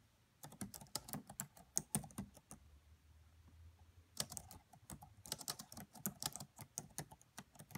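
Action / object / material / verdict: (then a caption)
tap / plastic laptop keyboard / plastic / none. Long nails and fingertips tap across the black plastic keys of a red laptop keyboard, producing quick, bright clicks and soft taps that stop almost instantly. The typing comes in two bursts separated by a pause of about one and a half seconds, during which only a faint low hum is heard.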